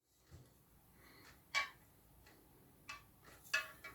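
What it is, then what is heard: Metal band on a rod blank (not shrink tubing). A finger taps a metal band at the top of an unbuilt carbon casting rod blank (Zulcron Sports XT 435 'Extreme Tournament'); the band looks like shrink tubing but is not. Four light, bright tick-like clicks are heard, each very short with almost no ring, over a quiet background.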